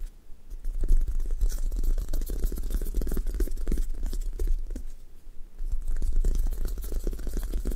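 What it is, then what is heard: Sticky foam squishy toy. Long nails tap, press and scratch the sticky surface of a thick toast squishy toy, a brown sticky foam top over a white base of solid, soft foam, leaving dents. Dense sticky crackles, tearing-like peels and soft scratches sit over low, muffled thumps, easing briefly near the five-second mark before picking up again.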